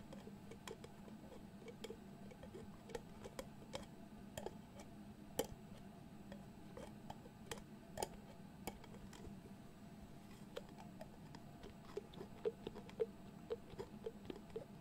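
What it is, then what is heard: Glass jar with metal screw lid. Fingers twist the metal screw lid of a medium glass jar filled with pale contents back and forth and tap on it. The result is a quiet, steady run of short, dry clicks and ticks that die away almost instantly, some landing as brighter, sharper taps. A low, steady hum sits underneath throughout.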